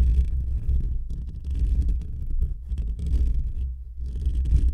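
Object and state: Metal mesh microphone grille being scratched.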